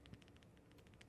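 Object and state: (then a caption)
3D-printed fidget cube with tight tolerances. A plastic infinite fidget cube, 3D-printed on a new printer, is shaken and gives a quiet, faint series of soft clicks, about eleven small ticks over a low background hiss. The rattle is slight, and the cube is noted as having much higher tolerances than an older rattly print.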